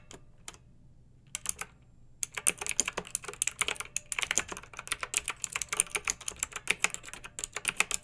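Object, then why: Plastic mechanical keyboard. A pink backlit mechanical keyboard with round typewriter-style plastic keycaps, resting on a fluffy rug, is typed on with long nails and the fingertips of both hands. A few sparse, bright clicks open the clip, then they build into steady, rapid typing of sharp, dry taps that stop instantly with no ring.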